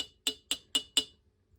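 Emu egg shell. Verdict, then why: Porcelain. A questionable emu egg is tapped four times, each tap giving a short, bright, china- or porcelain-like clink that dies away almost at once. Its sound is clearly different from an egg with a chick inside, and though it smells different it is not rotten.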